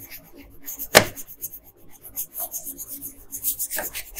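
A wooden colored pencil makes slow, light scratching strokes across a thin paper coloring sheet lying flat on a table. The soft, bright scratching comes in short strokes, with one sharper scrape near the start and another near the end.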